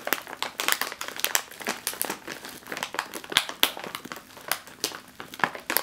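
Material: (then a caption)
Metallized plastic film. A sealed, metallized foil snack chip bag is squeezed and crinkled by hand with long nails. It makes a continuous run of bright, sharp crinkles and crackles with almost no low end. Each snap dies away almost instantly.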